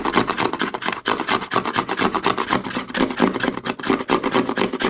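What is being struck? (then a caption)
Plastic lotion bottle. Fingertips and short nails rapidly rub and scratch the narrow, embossed-logo side of a white plastic CeraVe lotion bottle held sideways. The result is a fast, uneven stream of dry, hissy scratching bursts with a brief dip in the sound just after the first second.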